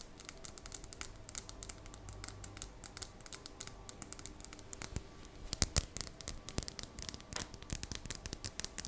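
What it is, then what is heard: Polished green crystal stone. Long dark painted nails tap and scratch the surface of a small, solid, polished dark green crystal stone held palm-sized in both hands. Rapid, crisp clicking taps mix with soft scratching, each tap dry and short with no ring.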